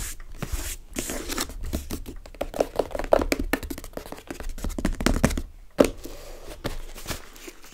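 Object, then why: Small cardboard box. Long red-painted nails rapidly tap and scratch the top of a small, hollow, closed brown cardboard box sealed with tape, sitting on a wooden table. The result is a dense run of dry, short, hollow taps mixed with scratchy rustling. Both hands then hold the box.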